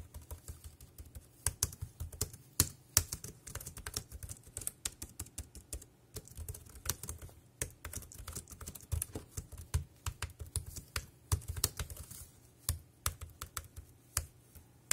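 Fingertips type on a dark grey plastic wireless keyboard with round keys, producing a steady, uneven stream of short, quick-fading key taps. Each tap has a soft low thump under a bright plastic click, with brief pauses between bursts of typing.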